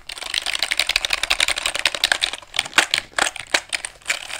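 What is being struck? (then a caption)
Small wooden calculator keys and casing. Fingertips tap repeatedly on the wooden keys and casing of a small handheld calculator with a light wood body, possibly bamboo, held up close to the microphone, much like typing. A fast, dense run of dry, bright clicks with no low end slows into sparser, separate taps toward the end, each dying away almost instantly.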